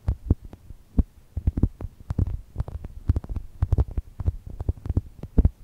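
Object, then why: Polyurethane foam toast-shaped squishy. Long nails and fingertips squeeze and scratch a small, soft, solid brown toast-shaped polyurethane foam chocolate toast squishy resting between two microphones. The result is a quick, irregular run of deep, muffled thumps and soft rubbing, with faint bright nail ticks on top and almost no ring after each touch.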